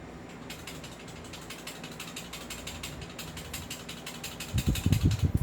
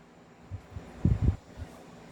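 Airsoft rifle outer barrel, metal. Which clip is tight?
The second.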